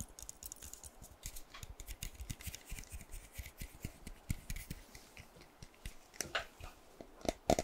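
A hollow pink plastic spray bottle with a teal cap, its fill unseen, is held in the hand and tapped and scratched with fingernails. Quick, soft, dull taps run in a steady stream, mixed with bright, dry scratching clicks. The last seconds bring a few louder, sharper taps.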